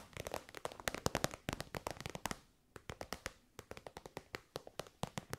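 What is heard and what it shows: Long white nails tap and scratch an elongated, shiny pink metallic faux-leather pouch that is soft and hollow. Dozens of quick, dry, crisp taps with faint scratchy texture come in a dense burst for just over two seconds. After a brief pause, a steadier, evenly spaced run of taps follows, each dying away almost instantly.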